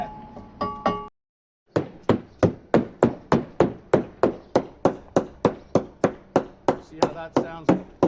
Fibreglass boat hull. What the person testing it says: A bit more solid. Yeah. So there's probably a bulkhead there, some type of support there